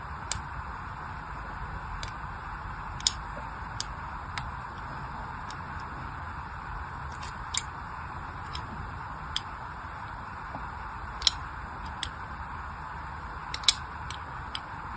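Short, sharp, bright ticks come at irregular intervals over a steady hiss as the tip of a small craft knife scores thin lines into a palm-sized, unwrapped, solid pink-and-white striped glycerin soap bar. The bar is held in one hand with long white nails while the other hand lightly scratches and carves its surface.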